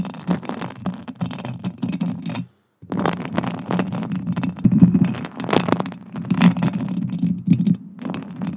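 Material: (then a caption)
Metal. Long acrylic nails scratch and tap across a silver metal mesh microphone grille, making a dense, rapid run of muffled scraping and light tapping. The sound is heavy in the low range, with a brief silence just before the three-second mark before the scratching resumes and continues to the end.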